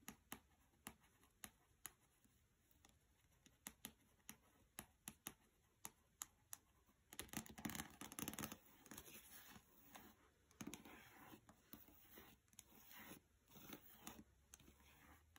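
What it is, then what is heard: Paperback book tapped and scratched with fingernails. Long red nails tap and scratch the glossy cover and edges of a small, solid, closed paperback book resting on carpet. For the first seven seconds it is sharp, separate taps; then it shifts into denser bursts of bright, papery scratching with taps scattered through it. The sound is quiet and close.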